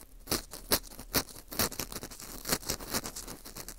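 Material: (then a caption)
Dried wheat gluten. A porous dried wheat gluten ring (fu), held in gloved hands, is scraped and crumbled around its hole with an orange plastic earpick. The result is dry, crisp scratching and crackling with bright, high crunches. Louder scrapes recur unevenly over a faint, steady hiss.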